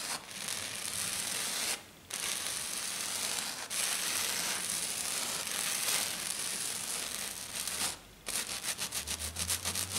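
Long dark nails on both hands scratch and tap fast and hard across a flat silver glitter sheet, probably glitter foam. Continuous bright, gritty rasping is broken by brief pauses near 2, 3.7 and 8 seconds, then ends in a quick run of rhythmic, pulsing strokes.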